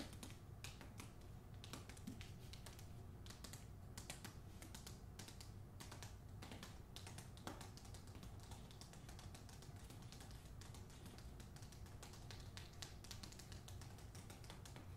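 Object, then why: Hardcover book with paper dust jacket. Long acrylic nails rapidly tap and scratch the glossy front cover of a hardcover novel with a paper dust jacket, held upright. Dense, quick clicks and bright scratchy strokes run steadily throughout the clip over a low, constant hum, all at a quiet level.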